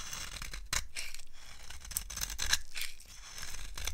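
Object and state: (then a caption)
Dry soap bar being carved. A blade carves crunchy, curled shavings off a solid, dry green soap bar held in the hand. Repeated crisp, bright scraping and crackling strokes sound over a low, steady rumble.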